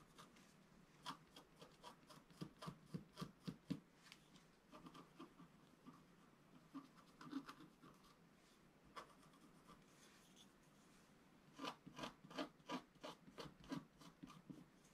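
A wooden stylus scratches near the lower right corner of a flat, black-coated scratch-art sheet, about A4, lying on a table. Quiet, dry, bright scratching strokes come in quick bursts, with lulls around 4–5 seconds and 8–11 seconds. Each stroke stops short with no ring.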